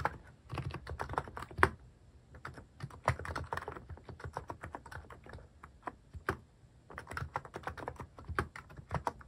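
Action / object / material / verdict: tap / plastic mechanical keyboard / plastic / none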